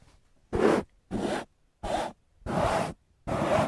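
A large beige woven linen curtain hanging at a window is scratched and rubbed with fingertips and nails. Five separate bursts of dry, broadband scratching, each lasting a fraction of a second, are heard with short silences between them.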